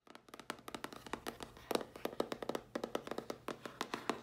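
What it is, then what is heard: Cardboard box tapped with nails. A medium-sized, hollow, closed dark grey printed cardboard mailer box with a round logo on the lid is tapped and scratched quickly on the lid with long dark-polished nails. About thirty quick, dry, hollow taps come in an uneven rapid stream, each dying away almost instantly, with faint scratching between them and a papery mid-range tone.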